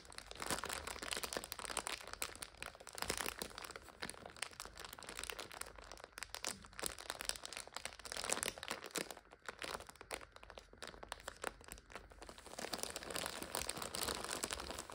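Long nails scratch and tap the crinkly plastic film of a full multipack of instant noodles standing on its side. The result is a dense, continuous bright crinkling and crackling, with quick sharp taps, that eases slightly in the middle before building again.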